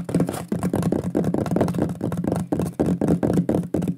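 Fingertips and nails tap and knock rapidly on a large, flat, solid wooden shield-shaped pyrography plaque with a burned lion image, held in both hands. The result is a dense, continuous flurry of short, low, woody knocks with brief dips between bursts and almost no ring after each hit.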